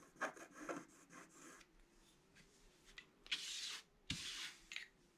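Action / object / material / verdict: scrape / scratch-art paper sheet scratched with a pointed wooden stick / coated paper / none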